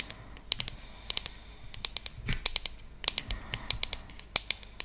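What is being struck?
Bamboo trivet.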